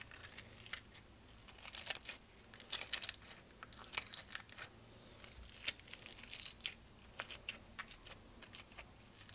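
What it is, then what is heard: Plastic slime tub. Long nails rapidly tap and scratch on the plastic lid of a small, clear, lidded tub full of purple slime. The result is a quiet stream of bright, crisp clicks and crinkly scratches with almost no low end. Each tap dies away instantly.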